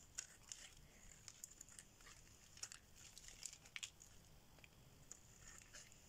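A solid orange bar of dry soap is held in the hand and scraped and shaved with a metal blade. Quiet, bright, crisp scratching comes in a scattered run of short, dry ticks and crackles over a faint low background hiss.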